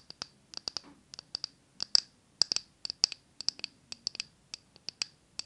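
Long nails tap and scratch the glass sides and rim of a small glass jar candle full of solid green wax, held close to the mic. About two dozen sharp, bright clicks come in an uneven rhythm, each dying instantly with no ring. Faint scratching fills a few of the gaps.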